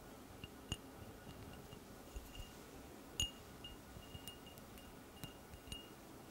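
A small, empty, hollow cut-crystal drinking tumbler with a diamond pattern is held up near the mic and tapped with long painted nails. Light, irregular clinks each give a brief, bright glassy ping around 2.9 kHz that fades almost at once, over a quiet, steady hiss.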